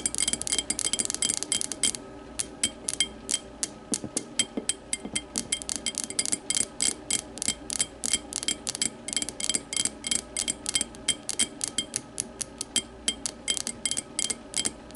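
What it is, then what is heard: Glass whiskey tumbler. Long matte nails tap quickly and repeatedly on the base and walls of a small, empty, clear glass whiskey tumbler lying on its side. Each tap makes a bright, brief glassy ring around 3.2 kHz, and the taps go on steadily in an uneven, clicking rhythm.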